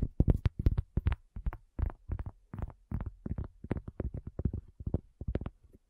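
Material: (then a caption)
Cork. A round, flat, solid cork coaster lying on a black table, with a recorder resting on its edge, is tapped and drummed with the long nails and fingertips of both hands. The result is a quick, uneven run of soft, dull, low thuds with very little ring, grouped in short bursts across about six seconds.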